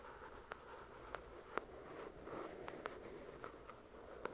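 Long nails slowly tap and scratch the glossy card cover of a solid paper paperback novel, "The Shack." Eight soft, sharp clicks stand out over a quiet, continuous scratchy rustle, each tap dying away almost instantly.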